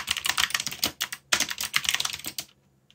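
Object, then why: Mechanical keyboard with plastic keycaps. Fingertips type quickly on a backlit mechanical keyboard with plastic keycaps, making sharp, bright clicks with almost no low end. There are two bursts of keystrokes with a brief pause near 1.2 seconds, and the typing stops at about 2.5 seconds.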